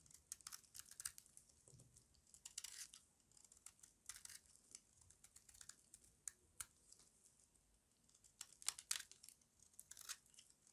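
A small metal blade with a yellow handle carves and scrapes crunchy flakes off a solid, square, embossed bar of dry white soap held in the palm. The result is a quiet run of bright, crisp scraping and crackling bursts with almost no low end. Each burst stops dry, with no ring.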